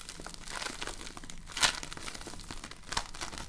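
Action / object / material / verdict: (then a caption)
scrape / polystyrene foam-bead slime / polystyrene beads / none. A handful-sized lump of multicolored, solid foam-bead slime (floam), tiny polystyrene beads bound in slime, is squeezed, kneaded and pulled apart by both hands with painted nails. A steady bright, crunchy crackling runs throughout, with two sharper, louder crackles standing out partway through and near the end.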